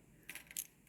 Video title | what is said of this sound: Let's Go Thrifting To Florida During A Hurricane | if they were glass it would be a higher pitch